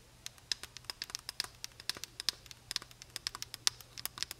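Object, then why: Plastic bottle. Long nails tap on the brown cap and sides of a large, full plastic honey bottle held in both hands. About 27 quick, bright, dry clicks come at an uneven pace with almost no ring. A faint low hum sits underneath.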